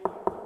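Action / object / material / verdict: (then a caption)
knock / drywall ceiling / drywall / hollow. Two knocks on a drywall ceiling in a garage, at a spot between the joists with nothing behind it. Each knock gives a brief, hollow mid-pitched thud centered around 400 Hz that dies away quickly, marking the cavity rather than a joist.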